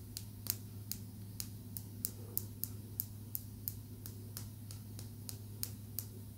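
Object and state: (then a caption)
Green calcite tumbled stone. A small, smooth, solid green calcite tumbled stone is tapped with long nails, giving 19 short, bright, dry clicks that die away almost instantly. The taps fall at an uneven pace over a steady low hum.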